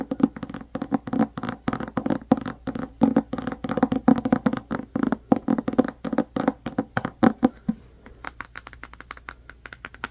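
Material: Cardboard.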